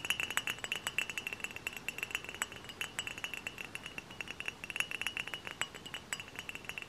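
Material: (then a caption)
Glass. Close-up tapping on a glass hard cider bottle makes a rapid run of light, bright clinks over about seven seconds. Each clink rings briefly at a high pitch near 2.7 kHz, with almost no low end.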